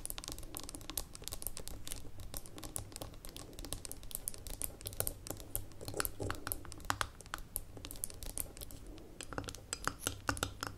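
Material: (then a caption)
Glass, metal. Long nails tap and scratch the gold metal lid of a small labeled amber glass jar standing on a table. The result is a quick, steady stream of short, bright clicks and faint scratchy rasps, each dying away almost instantly over a constant low hum.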